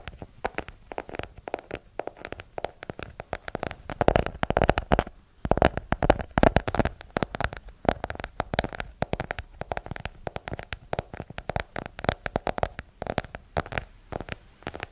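Long nails tap rapidly across the front cover of a solid yellow hardcover paper book, making a dense run of short, dry clicks. Each tap dies away almost at once, with a low-mid hollow tone and a little bright edge.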